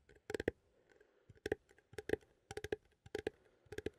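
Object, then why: Small metal coffee tin. A small cylindrical metal coffee tin, held in both hands, is tapped with fingertips and nails on its lid and side. Quick bursts of light, dry clicks and taps come in irregular clusters, each with a brief tinny ring near 420 Hz and bright edges. The taps die away almost instantly and stay quiet overall.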